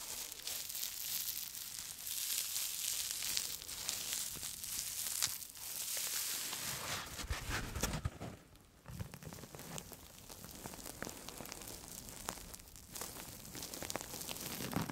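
A hand-sized blue and white foam sponge with a textured surface is scratched and squeezed with long nails and fingertips. Dense, bright scratchy crinkling and rustling continues throughout, with a brief quieter dip near the middle.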